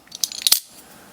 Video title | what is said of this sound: CKF - Custom Knife Factory Marauder Titanium- Initial Impressions and Overview | nothing on the inside it's a slab of titanium and that's it